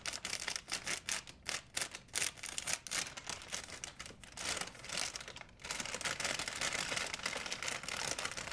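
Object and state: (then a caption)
Plastic shopping bag, crinkled. A large, empty, white printed plastic shopping bag is stretched and crumpled between fingers, producing bright, crackly crinkling. Short bursts of crinkles come in uneven pulses for the first five and a half seconds, then merge into a denser, continuous rustle until the end.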